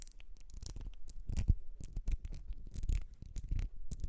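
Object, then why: Small ribbed glass perfume bottle. Long red nails scratch rapidly across the ribs of a small, partly filled ribbed glass perfume bottle with a gold cap. The result is a quick, uneven run of dry scraping strokes with bright, crisp ticks over soft low thumps, each stroke dying away almost at once.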